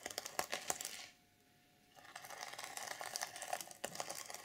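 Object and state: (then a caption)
Sequin fabric journal cover. Long purple nails scratch and brush the plastic sequins on the reversible sequin cover of an unwrapped journal. Bright, crisp clicking and rustling comes in quick, uneven bursts, then a brief near-silent pause before the scratching resumes.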